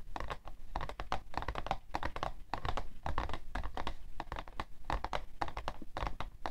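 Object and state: Cardboard tissue box.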